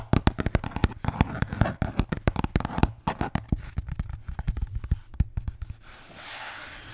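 A red Bintang beer can holder is tapped and scratched, giving a rapid, irregular run of short, dry, low-pitched taps with little ring. The taps stop near the end, leaving a soft, breathy scratching hiss.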